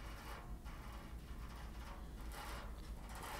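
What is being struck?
Nothing is struck.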